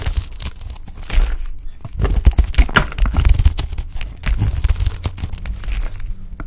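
A pale green solid bar of dry soap, held in the hand, is scraped and cut into flakes with a utility knife blade. The result is a continuous run of rough, crackly tearing and crunching scrapes over a dull low rumble. Short, dry crisp bursts repeat quickly with brief pauses between them.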